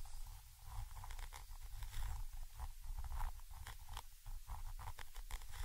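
A thin orange stick scratches from above across a Zoom H5 XY microphone capsule, a small chrome metal body with mesh grilles. The result is a steady run of close, crackly scraping strokes over a heavy low rumble, with short bright scratchy bursts.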